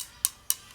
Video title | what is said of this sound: Sorting out lead wheel weights | as soon as you tap it ... sounds different